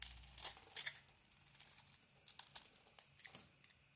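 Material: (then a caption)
Soap. A solid light-blue Arzt Seife bar of soap, held in the hand, is scraped and carved with a utility knife blade, peeling off thin curls. Quiet, bright, crisp scraping and crinkling strokes come in short bursts with brief pauses, each dying away at once with no ring.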